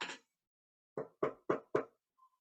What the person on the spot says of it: if the soil is dry you hear a hollow sound